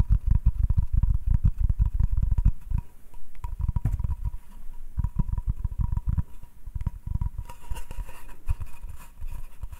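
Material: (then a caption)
Wood. A flat, solid hardwood cutting board is held upright while fingertips tap and nails scratch its face. Rapid, dull, low thuds come in quick bursts, loudest in the first few seconds, over a faint steady tone. Toward the end, softer taps mix with a brighter, hissy scratching texture.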